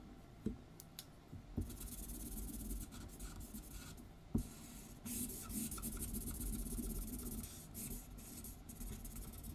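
A felt-tip marker colors in an outlined letter R on a white paper sheet lying flat on a wooden table, while the other hand holds the sheet steady. Quiet, continuous scratchy rubbing strokes carry a soft, bright hiss, broken by a few sharper ticks of the tip against the paper.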